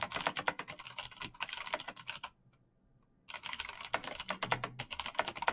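Fast typing on a full-size black plastic mechanical keyboard with clicky switches and backlit keys, struck quickly by bare fingertips in fingerless knit gloves. Rapid, bright, crisp key clicks stream out with a brief silent pause of about a second in the middle, then resume just as quickly.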